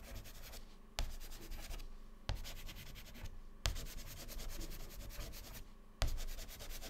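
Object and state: Chalk scratching on a chalkboard.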